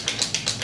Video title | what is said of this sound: Laura Mercier Smooth Finish Flawless Fluid Foundation | shake it and you're going to hear there's something in it